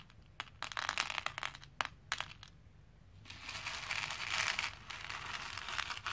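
Small plastic faux pearl beads are lifted by the handful with both hands and dropped into a plastic bowl. They make bright clicking and rattling as they tumble together. A cluster of sharp clatters in the first two and a half seconds gives way to a denser, continuous cascade of clicks through the rest of the clip.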